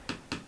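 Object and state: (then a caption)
Plastic wireless mic transmitter housing, not aluminium. Three light, sharp taps on the plastic housing of a Comica BoomX-U1 wireless microphone transmitter. Each tap is a brief, dry click with little ring. Despite its premium, aluminum-frame look, the tapping and light weight show the body is plastic.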